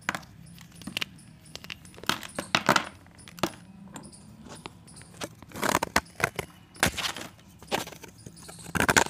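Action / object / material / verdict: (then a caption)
scrape / pressed chalk disc shaved with a blade / chalk / none. A partially cut solid pressed chalk disc, held in the fingers, is shaved with a box-cutter blade. It gives irregular bursts of short, crisp scraping and crunching with a bright, gritty edge, separated by quiet gaps over a faint low hum. Some strokes cluster into denser, louder runs.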